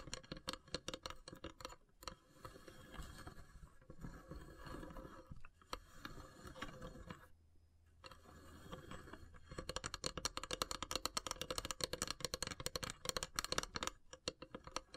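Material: Wood.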